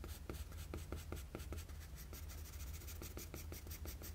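A graphite pencil with a blue end, held in the fingers, shades the chin area of a drawing on a flat sheet of drawing paper lying on a table. It makes a quiet run of short, raspy scratching strokes with bright, papery edges, over a steady low hum.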